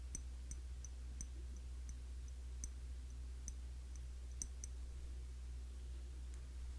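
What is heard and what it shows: Fingers tap on the glass body of a cologne bottle, a Classic Match clone of YSL Y. The result is quiet, irregularly spaced, bright ticking clicks that stop almost instantly, over a steady low hum.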